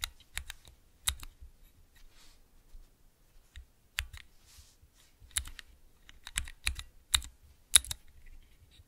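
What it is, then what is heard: Mechanical key switch tester. Fingertips with long nails press the keys of a clear plastic 3x3 mechanical switch tester fitted with Cherry MX switches and clear keycaps. About fourteen sharp, bright clacks come at an uneven pace, each short and dry with a faint low thump beneath.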